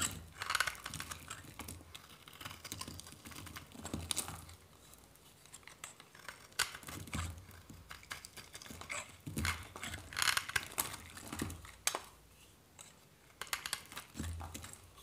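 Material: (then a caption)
Soap. A hand-held solid white dry soap bar is scraped and shaved with a metal knife blade in crisp strokes. The strokes come as bursts of dry, bright, crackly scraping and crumbling, separated by brief quiet pauses.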